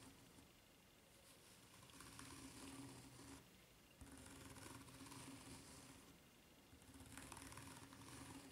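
Long nails scratch the serrated underside of a white ridged rubber flip-flop sole. They make three bursts of quiet, bright, raspy scraping, each followed by a softer pause, with a faint steady low hum underneath.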